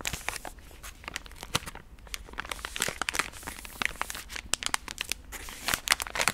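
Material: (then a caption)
Soft plastic. A palm-sized pink soft plastic Gentle Does It wet-wipes pack, full of wipes, is held in both hands and squeezed and crinkled with fingertips and long nails. The result is a steady stream of bright, crackly plastic crinkling, with sharp, quickly fading clicks concentrated in the high frequencies and very little low end.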